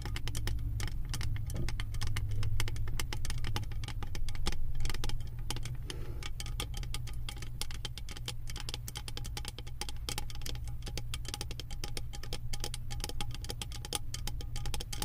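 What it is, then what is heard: Metal candle jar lid tapped with nails. Long acrylic nails tap and scratch a round, embossed metal lid studded with small metal beads, sitting on a full candle jar. Quick, irregular clicks and ticks patter at about three to four per second, with short, bright metallic edges that die away almost at once. A steady low rumble sits underneath throughout.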